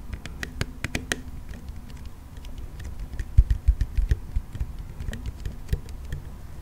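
Fingernails tap and scratch the body and wheels of a hollow pink plastic toy monster car close to the mic. The result is a quick, irregular patter of short, dry clicks over a low rumbling bed, with a cluster of stronger taps in the middle.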